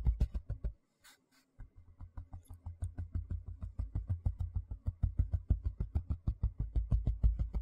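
Fingertips and nails tap and scratch the flat surface of a large, thin white plastic tray held on edge. The result is a rapid run of dull, low, muffled thumps with short scratchy edges and a brief pause near the one-second mark before a quicker, steadier run of taps resumes.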